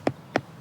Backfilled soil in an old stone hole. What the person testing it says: you tap the fill there's a much hollower sound an element of a drum to it it echoes a bit